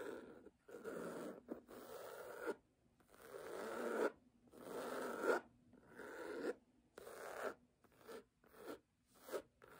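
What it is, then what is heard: Cloth-covered hardcover book being scratched. Long nails scratch and tap the cover of a solid red cloth-bound hardcover book lying flat. Dry, rasping scratch strokes of varying length alternate with brief silences, growing shorter and quicker toward the end.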